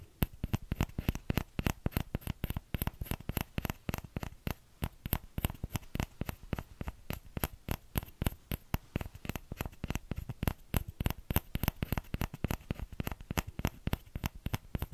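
Fingertips tap rapidly on the hollow bowl of a small orange plastic ladle held up in the air. The result is a quick, uneven patter of short, dry taps with a soft low thud under each one and a faint bright click on top.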